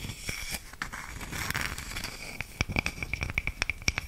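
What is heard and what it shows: A round, flat, palm-sized slice of solid wood used as a coaster is held up and scratched across its cut face with long nails. A dry, rasping scratch fills the first half, then gives way to a run of sharp, quick clicking strokes with a bright, thin ring that fades almost immediately.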